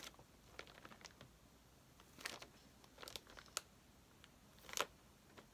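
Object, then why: Paper pad in a plastic wrapper. A stack of white paper sheets in a clear plastic bag, lying solid on a table, is tapped and scratched with long painted fingernails, then lifted at the end. Irregular, quiet, bright plastic crinkles and sharp clicks sit mostly in the high frequencies, with very little low end and almost no ring after each touch.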